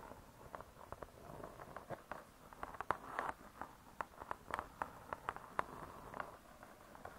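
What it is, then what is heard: Spiral-bound cardboard book cover tapped. Long nails tap quickly and irregularly on the cardboard-covered cover of a spiral-bound hardcover cookbook. The result is a quiet run of short, dry clicks centred around 1 kHz, with little low end and a faint soft scratchiness between taps.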